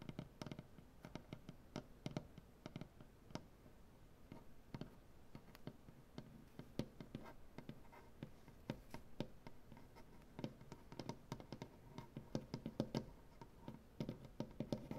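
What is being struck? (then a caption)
Wooden butcher-block tabletop. Both hands scratch and tap with painted nails on a solid light wood butcher-block tabletop. The result is a quiet, continuous stream of short, dry taps and soft scratches that stay mostly low-pitched with little ring. The taps come in irregular bursts that grow a little denser and louder toward the end.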